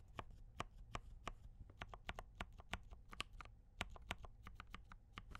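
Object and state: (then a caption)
Mechanical keyboard typing. Both hands type steadily with fingertip taps on a compact D84 mechanical keyboard with brown switches and cream and red plastic keycaps. Roughly two dozen short, dry clacks follow one another quickly, each with a soft low thud and a brighter click that dies away almost at once.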